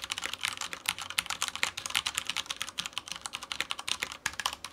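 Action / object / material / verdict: tap / plastic mechanical keyboard / plastic / none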